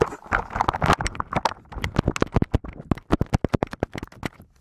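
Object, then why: Plastic keyboard covered in slime. Fingertips type through a thick layer of translucent blue slime covering a full-size white and grey mechanical keyboard with plastic keycaps. The result is a rapid run of wet, squelching presses mixed with short, sharp key clicks, dense at first and then more evenly spaced.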